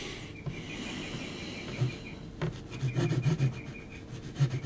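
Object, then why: Graphite pencil on heavy textured paper sheet. A graphite pencil held at a low angle is rubbed and scratched across a large, flat sheet of heavy textured mixed-media paper. It makes a soft, dry, low rasping with uneven scratchy strokes that get louder and choppier toward the end. A faint steady tone near 2.5 kHz runs beneath it.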